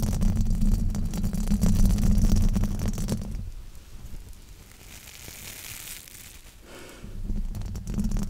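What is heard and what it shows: Fingertips and nails rub and scratch a black foam windscreen on a microphone, producing a dense, muffled rumbling scrape heavy in low frequencies. The scratching is loud for the first three seconds, softens to a quieter, airier rustle in the middle, then swells back to a heavy scrape at the end.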